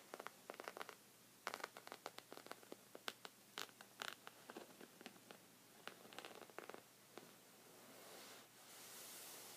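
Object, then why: Thick woven fabric rug. Short red fingernails scratch a thick, cream, textured woven knit rug of soft fabric, producing a rapid series of short, dry, bright scratches in uneven bursts. Toward the end, the scratching gives way to a steady, soft, hissing rustle.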